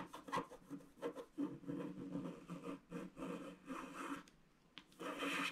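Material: Wax, card.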